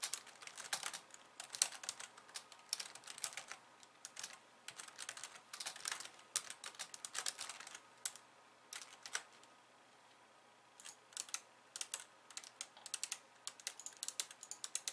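Long painted nails type on a pink low-profile plastic keyboard with white keys, resting on a wooden desk. The result is quick, bright, clicky taps with no low end, broken by a short pause near the ten-second mark before the typing resumes.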